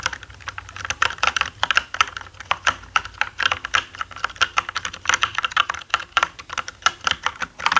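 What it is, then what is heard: Plastic mechanical keyboard. Fingertips of both hands type on a black mechanical gaming keyboard with plastic keycaps. The result is a rapid, uneven stream of sharp, bright clacks centred around 1.3 kHz, each dying away almost instantly with very little low end.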